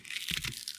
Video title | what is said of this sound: OEM vs CHINA Fuel Filter Comparison TP1015 Duramax Diesel 3.0 6.6 | this one sounds like cardboard